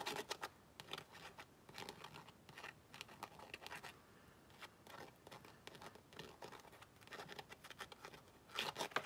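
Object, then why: Tooled leather zip wallet. Fingernails scratch and tap on a tan tooled leather zip wallet held close to the microphone. The result is quiet, dry bursts of bright rasping scratches with short crisp taps, sitting mostly in the mids and highs with almost no low end, and a louder flurry at the very end.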